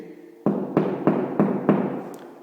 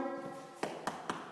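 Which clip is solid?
The second.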